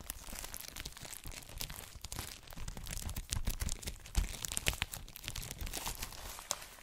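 Fingertips rub and tap the clear cellophane wrap on an A4-size ELLE paper magazine, making it crinkle. Dense, irregular crackles and bright, high-frequency rustles mix with soft low thumps from the taps, each sound stopping dead with no ring. The crinkling stays steady and fairly quiet, with a few sharper peaks toward the end.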